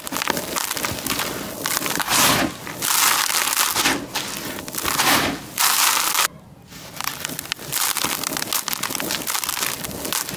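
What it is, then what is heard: Dry crushed concrete grit. Bare hands scoop dark grey dry concrete grit in a white plastic tub into clumps, crush them and let them crumble back into the pile. The result is a bright, gritty crunching and crackling that comes in dense bursts, with a brief near-silent pause partway through before the crumbling resumes.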